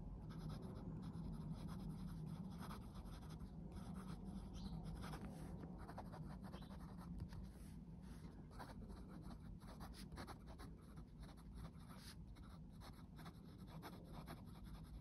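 A metal-nib fountain pen, held in the fingers, writes on a yellow lined paper legal pad, a thick stack of sheets lying flat on a desk. Its nib scratches across the page in soft, steady strokes over a constant low hum. The sound stays quiet and even throughout.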